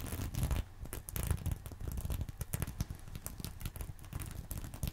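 A fingernail scratches across a small reversible sequin fabric purse resting on a pillow. The result is a dense run of short scratchy, crinkling rasps in uneven bursts, with most of the energy low and muffled and little bright content.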